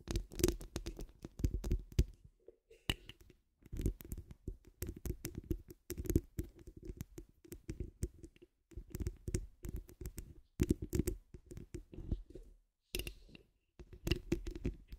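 Long acrylic nails scratch the woven grille of a hollow metal mesh microphone head from the sides and top. Dense bursts of scratchy, crackling rubbing come in clusters separated by brief silences, with a heavy, boomy low-end thump and faint bright edges.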